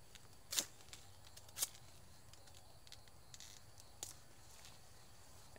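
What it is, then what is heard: Durian fruit tapped with a stick. A gloved hand steadies a large, solid, whole spiky durian still hanging on the tree in an orchard while the other hand taps its thick spiny husk with a small wooden stick to judge ripeness. The taps are short, dry, bright clicks that stop almost instantly, spaced irregularly with a few louder strikes among fainter ones. A faint low outdoor background hum runs underneath.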